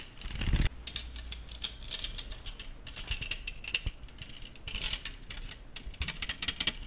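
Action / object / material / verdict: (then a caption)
flick / stainless steel balloon whisk / stainless steel / none. A stainless steel balloon whisk is held by its handle while fingers and nails pluck, strum and slide along its thin wire loops. The result is a dense run of quick, bright metallic ticks and scrapes with very short ring, plus a low rumble that drops away after the first moments.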